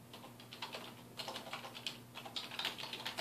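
Fingertips of both hands type continuously on a full-size black plastic computer keyboard with a hollow housing, resting on a wooden desk. About fifteen quick, bright, clicky key taps come in an uneven stream, each dying away almost at once. A faint steady low hum sits underneath.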